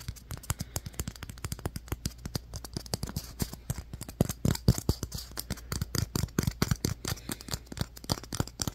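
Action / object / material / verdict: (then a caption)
tap / polystyrene foam ball / polystyrene foam / none. Fingertips and nails tap and scratch the surface of a solid, light, fist-sized white polystyrene foam ball. Dozens of quick, dry clicks and scrapes sound in an irregular run over a steady low hum, each dying away almost at once with no ring.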